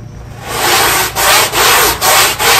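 A black push broom scrubs along the edge of a small, square, wet, ribbed synthetic carpet tile. Repeated bright, hissing brush strokes swell in one after another, separated by brief dips between each pass. A faint low hum sits underneath.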